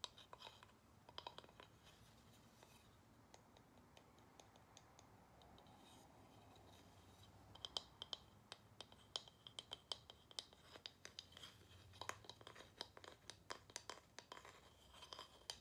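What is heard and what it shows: A small, solid carved wooden plaque, held in the hands, is tapped and scratched with long nails on its edges and faces. The result is quiet, dry, bright clicks and taps that die away almost instantly, peaking around 3 kHz, with soft scratching between them. The taps are sparse at first, then come in denser, quicker bursts in the second half.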